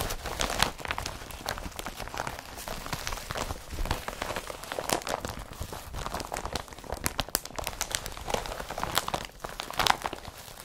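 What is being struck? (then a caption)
Woven polypropylene carrier bag. Fingertips crumple and rub the fabric of an empty blue woven polypropylene IKEA FRAKTA/BRATTBY carrier bag with yellow straps, lying on a dark surface. The result is a dense, steady stream of crisp crinkles and crackles with bright, papery highs and a midrange body around 800 Hz. Sharper crunches rise now and then across the whole clip.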